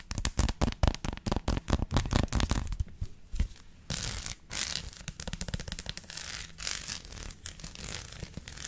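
Long lilac nails tap and scratch a flat, solid, hand-sized dark chocolate bar with a raised dotted pattern on one side, held upright and flipped over to reach the bumpy surface and the edge. Quick, dry, clicky taps come in a dense irregular run for the first three seconds. They give way to softer, gritty scratching and scraping with a few scattered taps.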